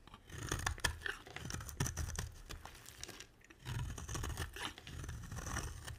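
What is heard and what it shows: A utility knife blade scrapes and carves a solid light blue bar of soap, sending flakes falling. Dense, crunchy scraping with bright, gritty detail and soft low thumps runs through the clip, easing into a brief near-quiet stretch around the middle before the carving picks up again.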